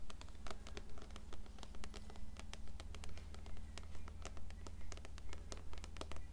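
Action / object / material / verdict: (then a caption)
tap / closed paperback book, paper cover / paper / none. Long nails tap and scratch the cover and spine of an upright, closed blue paperback copy of Coraline. The result is a steady stream of quick, bright clicks and scrapes, swelling in a regular rhythm over a constant low hum.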